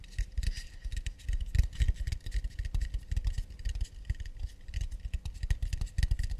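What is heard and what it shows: Fast, delicate tapping on an acacia wood plate. The quick, dry taps have a soft low thud with faint bright clicky edges, and each one dies away almost instantly.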